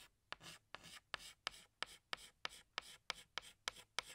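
A hand draws flower petals with a tan stick of chalk on a large, flat black chalkboard. Twelve sharp, bright taps ring out, each one followed by a short, dry, scratchy stroke. The strokes come in a steady, even rhythm at a quiet level.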